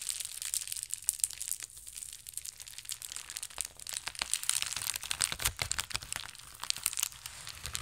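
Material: Plastic.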